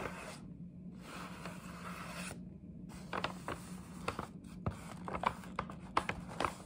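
Long nails scratch across the printed panel and edge of a hollow paper gift bag with a scalloped top. A steady, papery rubbing and scraping with a low hum runs through the first half. Sharper, quick crinkling scratch strokes pop out over it toward the end.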